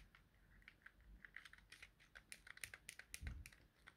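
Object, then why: Plastic handheld game controller buttons. A thumb presses and clicks the buttons of a small, hollow, yellow plastic Nintendo Joy-Con held in the hand, with an idle white controller nearby. About twenty quick, sharp plastic clicks come in an uneven, typing-like run, bright and dry with almost no ring. A soft low thump sounds near the three-second mark.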